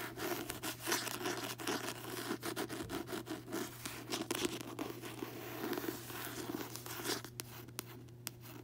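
Fingertips and long nails tap and scratch the glossy card front cover of a closed paperback novel, Shutter Island, lying on a bedsheet. Quick, dry taps mix with rough scratching and rubbing over a faint steady low hum, staying soft throughout and thinning out near the end.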